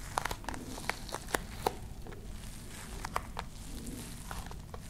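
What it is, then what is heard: Fabric-covered hard case scratched with nails. Long nails scratch across a small, hollow, dark grey hard-shell case with a fabric-covered, textured woven surface. Quick, crisp scratches and sharp crinkly ticks rise over a steady low rumble. The ticks cluster in the first couple of seconds, then thin into softer rasping.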